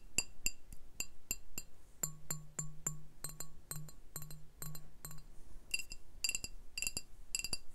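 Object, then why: Glass beer bottle. A medium brown glass beer bottle with a printed sleeve label, hollow and apparently empty, is held upright and tapped with fingertips and nails along its body and neck. Each tap gives a short, bright glassy clink that dies away almost at once. Through the middle of the clip a low, steady hum sits under the taps, and the tapping grows denser toward the end.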